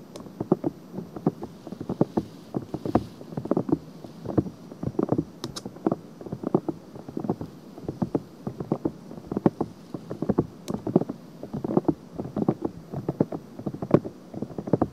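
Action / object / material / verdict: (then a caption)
scrape / silicone binaural microphone ear / silicone / none. Long nails on both hands scratch and rub the silicone ear piece of a binaural microphone and its rim. The result is a steady stream of close, dry scratching strokes with a low-mid rasp and short, sharp bursts.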